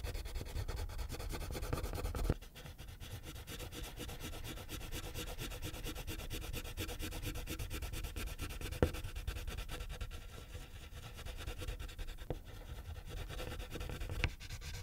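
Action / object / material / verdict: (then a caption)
scrape / wax crayon on a paper sheet / paper / none. A pink wax crayon scribbles in small areas on a thin white paper coloring page resting on a clipboard. It makes a steady low scratchy rubbing texture with many fine strokes. A few sharper taps stand out near 2.3, 8.8 and 14.3 seconds.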